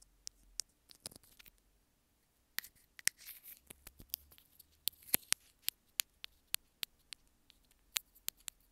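Long fingernails tap and scratch the surface of a small white plastic earphone inline remote held in the fingers. About twenty sharp, bright, dry clicks ring out with no tail, mixed with brief soft scratching between them, all at a quiet level.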